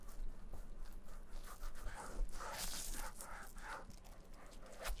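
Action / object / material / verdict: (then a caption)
scrape / leather shoe rubbed with gloved fingertips / leather / none. Black nitrile-gloved fingertips lightly rub the heel and side of a vintage black Camper leather shoe, making soft, quiet squeaks and swishes on the smooth leather. A low rumble runs underneath throughout, with brighter rubbing strokes through the middle of the clip.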